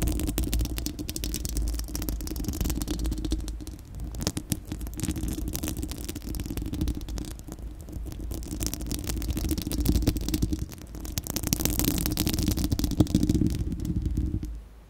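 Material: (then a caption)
Steel mesh. Long acrylic nails on both hands scratch a bare, round, hollow-dome steel-mesh microphone grille. The result is a dense, continuous rasping and scraping with a heavy low rumble and a steady tonal hum near 305 Hz, interrupted by faint bright crackles. The scratching swells louder around ten seconds and again between twelve and fourteen seconds before fading out at the end.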